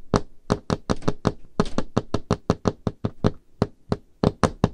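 Painted fingernails on both hands tap rapidly on the large, solid, dark-stained wooden table top. About 21 quick, dry knocks land in an irregular rhythm, each with a dull low thump and a bright click, and they die away almost instantly.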